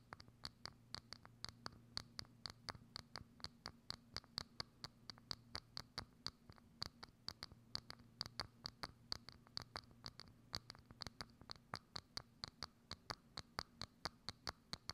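Long acrylic nails scratch and tap a hollow, thin, clear plastic dome lid set over a microphone. A rapid, steady series of sharp, bright clicks and scratches sounds through the clip, each dying away almost at once. A faint low hum runs underneath.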